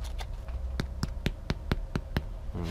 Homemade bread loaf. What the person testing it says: bien que dedans ça sonne creux